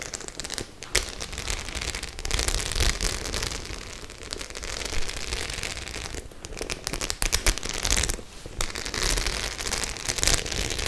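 A flat white studded faux-leather clutch bag covered in rows of metal studs is held upright in both hands while long acrylic nails scratch and tap across the studs. The result is a dense, continuous crackling of sharp, bright clicks and scrapes with a low rumble underneath. The level dips briefly in a few places but never goes quiet.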